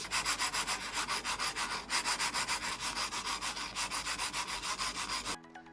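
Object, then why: Mouse sliding on a glass mousepad. A mouse is slid rapidly back and forth across a Kyomi Yuyo glass mousepad with a spiky textured surface, producing a bright, hissing scrape. The strokes come as a steady run of about 18 quick passes before stopping abruptly, leaving a faint quiet tail.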